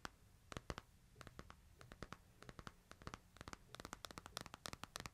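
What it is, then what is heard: Smartphone in plastic case. Fingernails scratch and tap the back and sides of a smartphone in a plastic case held upright. About thirty quiet, sharp clicks with a bright edge and almost no ring stand out over a soft low rumble and faint scratching. The taps come unevenly and grow quicker and denser toward the end.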